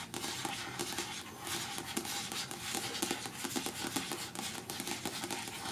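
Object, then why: Paperback book with card cover. Long natural nails quickly tap and scratch the card cover of a closed paperback novel, "In the Woods," lying flat on a patterned cloth. Dry, crisp taps mix with a steady, bright scratching hiss, and each tap dies away quickly.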